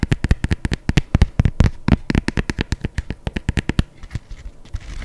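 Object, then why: Empty leather sneaker. Long nails tap and scratch the upper and stripes of an empty white adidas leather sneaker held in one hand. They make a rapid, uneven run of short, dry, low thuds with almost no ring, and softer scratching toward the end.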